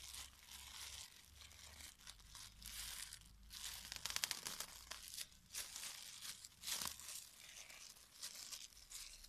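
A thin, clear polyethylene disposable glove, soft and hollow, starts empty and is then pulled onto a hand while fingertips with red-painted nails pull, stretch and crinkle the film. The result is a steady stream of quiet, bright crinkling and tearing-like rustles, with sharper crackles clustered in the middle, and almost no low end.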